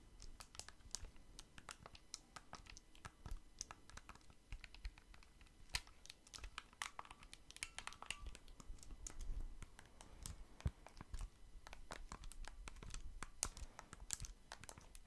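A blue and red pair of small, hollow plastic Nintendo Switch Joy-Con controllers, attached to a grip, is held in both hands close to the microphone while fingertips tap and click the buttons and sticks. The result is a quiet, steady stream of short, sharp plastic clicks and taps with bright edges, set over a soft low rumble.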